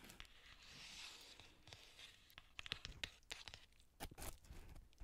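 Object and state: Plastic bubble mailer being crinkled.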